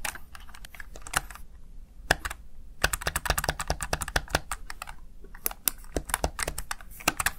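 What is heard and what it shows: Fingertips with short nails press and tap the plastic keys of a Razer Tartarus Chroma one-handed gaming keypad, which has RGB-backlit mechanical-style keys. The rapid typing produces a fast run of crisp, bright clicks and clacks with brief pauses, each tap dying away almost instantly over a faint low hum.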